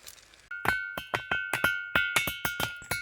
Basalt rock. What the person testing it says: ఆ రాయి అంత అమోకంగా పాట పాడుతుందని మనం చెప్పొచ్చు